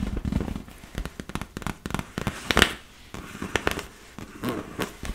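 Fingertips and nails rub and scratch across the surface of a large, hollow, inflated yellow and blue PVC vinyl beach ball. The result is a run of quick, dry, crackling squeaks and scrapes with brief bright peaks. Between them sit quieter stretches of soft rubbing.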